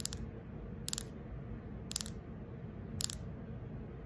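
Long acrylic nails scratch and tap the surface of a fist-sized, round carved wooden ball held in the hand, likely hollow. Short clusters of sharp, bright clicks land about once a second over a soft, steady low scratching rustle.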